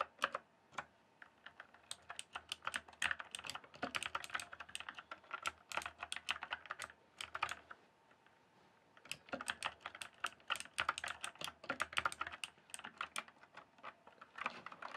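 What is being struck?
Plastic mechanical computer keyboard.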